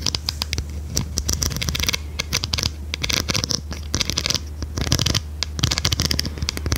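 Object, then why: Plastic pencil sharpener. A large blue plastic pencil sharpener, turned on its side, is tapped and scratched along its edges with long red nails. Quick, crisp taps and bright scratching rasps come in dense clusters over a steady low hum.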